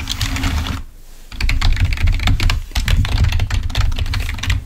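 Fingertips of both hands type rapidly on a full-size, wired, black plastic Microsoft membrane keyboard lying on a white table. Quick, bright key clicks run in dense bursts, with a brief pause just before the one-second mark. A steady low hum sits underneath throughout.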